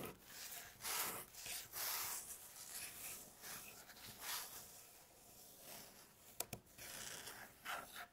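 Long natural fingernail tips scratch and tap across a light-colored, flat, solid wooden tabletop. Soft, bright, raspy scratching strokes rise and fall in irregular bursts, broken by two sharp, quick taps near the end.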